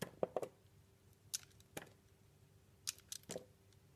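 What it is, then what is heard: Bar soap being shaved with a blade. A solid, round, translucent blue bar soap with a pink swirled center, held in the palm, is shaved with a utility blade. Short, crisp scraping and cutting strokes come in quick bursts, some with a bright, high-pitched hiss. A faint steady hum sits underneath.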